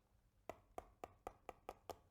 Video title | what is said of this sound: 厨师长小技巧之：“选大闸蟹，蒸大闸蟹”，蟹黄饱满，肉质鲜甜 | 如果是闷的比较沉闷的就说明这个里面它的肉比较饱满如果说是比较清脆的响声里面就是一个空壳子